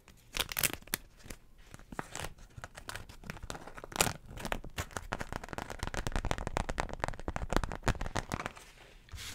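A floral beeswax wrap, a waxed cotton fabric sheet, is crinkled, flexed and scratched with long nails in front of a microphone. Dense crackling and crinkling bursts run throughout, with sharp, bright transients over a low, soft body. The sound is papery and sticky-sounding.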